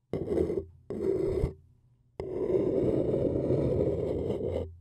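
A thin wooden stick scratches around the rim of a printed white paper cup, hollow and apparently empty. Two short, dry scraping strokes are followed by a pause and then a longer continuous scrape that starts with a sharp edge. The rasping sound sits in a papery midrange with faint higher hiss.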